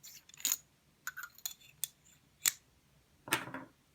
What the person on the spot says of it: this is aluminium sounds more substantial